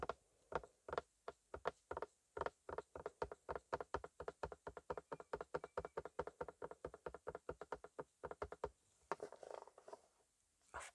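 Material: Plastic.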